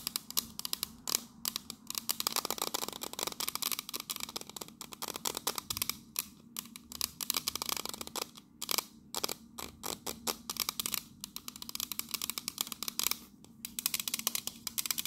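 Long nails tap and scratch the cylindrical side of a tall, pink printed metal biscuit tin. The result is a fast, dense stream of sharp, bright clicks mixed with thin, rasping scratches, each tap dying away almost instantly with very little low end.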